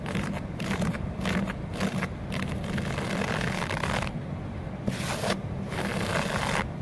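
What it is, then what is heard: Outdoor carpet. Fingertips and nails scratch a flat, grey, low-pile outdoor carpet on a balcony floor. The result is a steady run of rough, brushy scraping strokes with broadband hiss, a low hum underneath, and short pauses between strokes.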